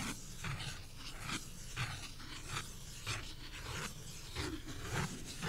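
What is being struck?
Pulpboard beer coaster.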